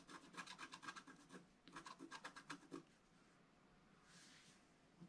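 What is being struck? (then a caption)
Wax-coated scratch art paper scraped with a wooden stylus. A wooden stylus scrapes the black wax coating near the top right edge of a flat scratch art sheet, making two quick bursts of about 14 short, raspy scratching and rubbing strokes with a bright, papery texture centred around 1.6 kHz. After under three seconds the strokes stop, leaving a quiet hiss with one faint, soft high swish near the end.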